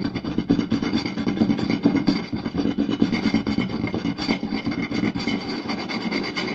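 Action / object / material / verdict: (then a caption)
scrape / round wooden plate / wood / none. Fingertips and short nails of both hands quickly scratch and tap a round, solid wooden plate with a raised rim lying flat. The result is a dense, busy stream of dry scratching and rapid taps with a warm low-mid body and faint bright edges. The hits blur together with no clear pauses.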